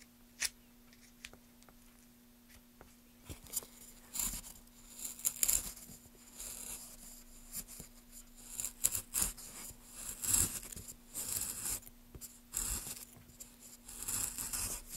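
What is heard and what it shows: A gloved hand pushes a gouge along the surface of a solid pale wooden block, curling off shavings. The carving comes through as a series of short, bright scraping and tearing strokes with quiet pauses between them, over a faint steady low hum.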